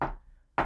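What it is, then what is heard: Wooden table knocked. A wooden table is knocked twice, as an example of trying to understand a sound with the intellect. Two short, dull knocks land about half a second apart, each with a mid-pitched body and a quick decay into near silence.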